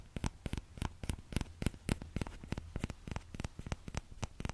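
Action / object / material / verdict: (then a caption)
tap / small plastic ladle / plastic / none. A small orange plastic ladle is held by its thin handle close to the mic while the fingertips of the other hand tap its shallow, hollow bowl. About twenty quick, dry, hollow taps come in an uneven rhythm, each with a short bright click and almost no ring. A low steady hum sits underneath.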